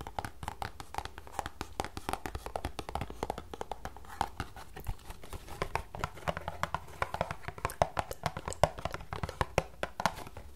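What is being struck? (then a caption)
Small paperboard tea box. Long nails tap and scratch across the flat surfaces of a small, closed green paperboard tea box that is hollow with tea bags inside. The result is a rapid, steady run of short, dry clicks with a hollow midrange tone and almost no ring. Soft scratchy rustling and a faint low hum sit underneath.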